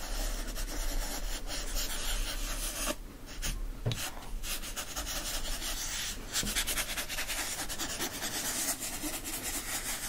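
Fingertips and nails rub and scratch the printed front cover of a yellow foil-stamped hardcover book. The result is a steady, close, dry rasping with a bright hissy edge over a low steady hum. The scratching dips briefly quieter a few seconds in, then carries on evenly to the end.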